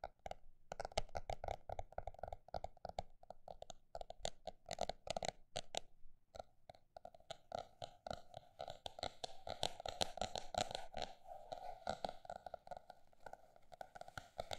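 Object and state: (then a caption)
Notebook tapped. A paper notebook is tapped with fingers, quickly in dense bursts and then more slowly. Each tap is a short, dry knock with a mid-range hollow tone, a little low thump and a light papery brightness. Brief pauses separate the bursts.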